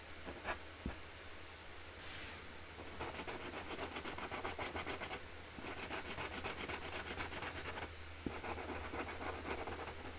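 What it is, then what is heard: Felt-tip marker rubbing on a cardboard box lid. A hand colours a flower with a pink felt-tip marker on a large, flat cardboard box lid, rubbing strokes across the cardboard. Quick, dry, scratchy strokes come in bursts of about four per second, broken by short pauses and a few soft taps, over a steady low hum.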